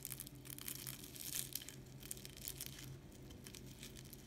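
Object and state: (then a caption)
Crispy baked phyllo pastry. A knife cuts through a baked şöbiyet dessert made of phyllo layers with semolina cream. Dense, crisp crackling and crunching bursts are heard over a steady low hum. The crunch shows the baked pastry is very crispy.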